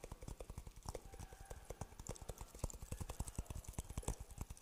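A dry, hollow coconut shell half with a brown interior is tapped quickly with the fingertips on its husk side. It gives a rapid, somewhat irregular run of short, hollow, low thuds that sound like clip-clopping hooves. Each tap dies away almost at once.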